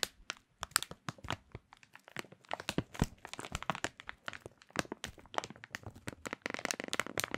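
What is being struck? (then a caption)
Thin plastic food bag. Fingertips crinkle and crunch a clear printed plastic bag holding a small food item. A quiet, dense run of sharp, bright crackles and crinkles comes in quick bursts, each snapping off almost instantly, with little low end.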